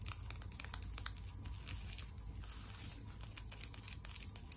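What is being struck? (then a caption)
Tinsel decoration on a wire frame. Long nails scratch and crinkle the pink and white tinsel on the face of a flat tinsel teddy bear decoration built on a wire frame. Dense, quick, bright crackles and rustles ride over a low, steady hum, and the sound is thicker in the first second and again near the end.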